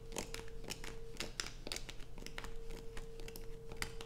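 Long nails scratch and scrape across the surface of a solid light-blue bar of soap with holes dug into it. The result is a rapid run of dry, crinkly scrapes with bright, crisp edges over a steady low hum.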